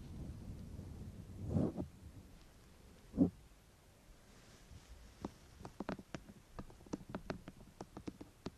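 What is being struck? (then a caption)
Hollow plastic microphone housing. Long painted fingernails tap and scratch the top of a white, hollow, rectangular plastic binaural microphone body with ears at both ends. A low, muffled rumble with two soft thuds fills the first few seconds. It then gives way to a run of sharp, dry, irregular clicks.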